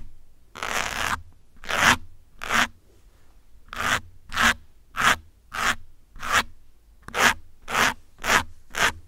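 Metal pins pinched between fingers scratch repeatedly across the top of a grey foam windscreen on a black microphone. About a dozen short, bright, rasping scrapes come in uneven bursts, separated by brief quiet gaps.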